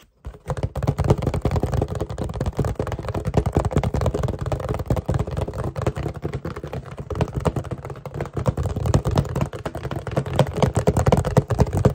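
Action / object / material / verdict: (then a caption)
tap / cardboard tissue box / cardboard / none. A small, hollow cardboard tissue box with a blue snowflake pattern and tissues sticking out the top is held up close and tapped and scratched quickly with fingertips and short nails. The result is a dense, continuous stream of rapid, dull, hollow taps and scratches, heavy in the low end with very little bright content.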